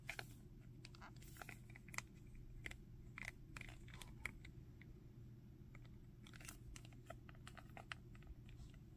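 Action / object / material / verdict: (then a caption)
tap / hard plastic action figure / plastic / none. A Dragon Ball Zamasu plastic action figure, about 15 cm tall, with a hard plastic body and a purple arm, is tapped and scratched by fingertips and nails on its hair and torso. Quiet, irregular crisp ticks and brief scratchy scrapes sound over a steady low hum.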